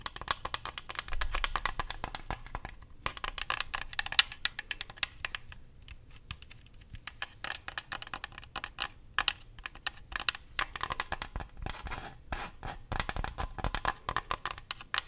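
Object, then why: Plastic game controller shell and buttons. Fingernails scratch and tap the buttons and shell of a white plastic Xbox controller, hand-sized and hollow. Quick, dense, bright clicks and scrapes patter on at a soft level, each dying out at once, with brief quieter gaps near 3 seconds and between 6 and 7 seconds.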